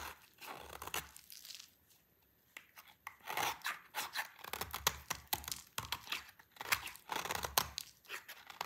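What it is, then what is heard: Dry soap bar being shaved. A solid, hand-sized dry orange bar soap, held in a hand with long purple nails, is scraped and shaved with a utility knife blade. Crisp, bright crunching and tearing scrapes come in quick bursts, with a brief quiet pause early on. Crunchy shavings fall onto a pile.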